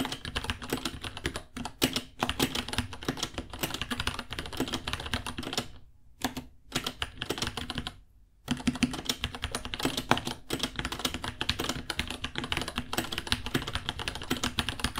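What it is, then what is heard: Plastic mechanical keyboard being typed on. Both hands type with their fingertips on a small white 66-key mechanical keyboard with Gateron Brown switches, white plastic keycaps, a hollow case and pink underglow, sitting on a white desk. Rapid, clacky key taps run almost continuously, with brief pauses around 6 seconds and a near-silent gap around 8 seconds before the typing resumes.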